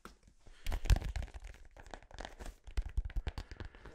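Fingertips and nails tap and scratch a blue, hollow, inflated synthetic-leather soccer ball held close to the microphone. The result is a quick run of deep, dull thumps with brief, dry scratchy crinkles between them, each tap stopping almost instantly.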